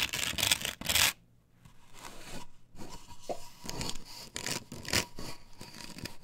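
Long nails scratch the face of a plastic stencil template glued to a wooden board, which is lifted and held upright. Loud, bright rasping strokes come first, then a short near-silent gap, followed by softer, uneven scraping passes.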